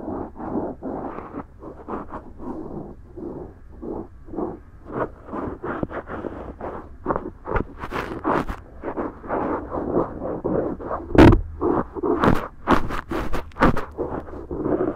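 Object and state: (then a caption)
Silicone ear microphone being rubbed. A cotton swab held in the fingertips rubs and scratches inside the ear canal opening of the left silicone ear of a binaural microphone, which is soft and solid. Close, dull scratchy rubbing strokes repeat irregularly, about one per second, each a short low-to-mid burst. A few sharper, brighter clicks stand out near the end.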